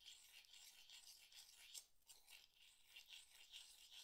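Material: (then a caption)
Shell. Fingers rub and tap empty mussel shell halves, clinking them against a pile of the same shells on a board. The sound is a quiet, bright scraping and rattling with short, sharp clicks that die away at once and almost no low end.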